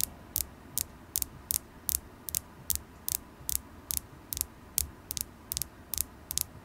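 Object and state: Carnelian crystal point tapped with nails.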